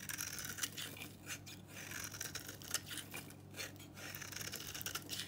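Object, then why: Bar of soap cut with a blade. A utility knife shaves a solid, very dry pink bar of soap held in the hand, peeling it into curled flakes. The clip is quiet, bright, crisp scraping and crackling, with irregular short strokes that stand out from a soft, steady low hum.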